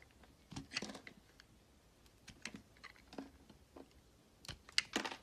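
A red utility knife carves and shaves strips off the edge of a solid pale green bar of soap. Short, crisp scraping cuts with a bright, papery crunch come in irregular bursts over quiet pauses, each ending abruptly with almost no ring.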